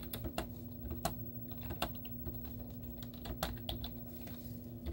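Long teal-painted nails and fingertips type rapidly on a white plastic laptop keyboard with cartoon stickers on its hollow keys. The keys give quick, short, clicky taps with a few sharper, brighter clacks. A steady low hum runs underneath.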